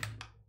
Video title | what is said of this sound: Pixels Dice - January 2024 Livestream Recording | if you ever roll one you can tell immediately and it has this this really terrible rolling sound